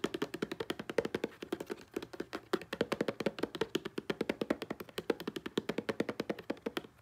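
Fast fingertip and nail tapping on a hollow blue plastic Selsun Blue shampoo bottle lying on a grey blanket, striking both the bottle's body and its green label. About sixty quick, dry taps come in an uneven rapid stream, each a short hollow plastic tick centred around 460 Hz that dies away almost at once.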